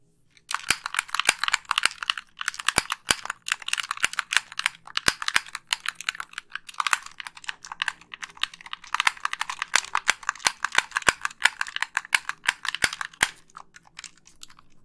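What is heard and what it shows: Long pink nails rapidly click the buttons of a hollow white plastic Xbox 360 gamepad held up close. The result is dense bursts of short, bright plastic clicks with a few brief pauses, each click dying away almost instantly.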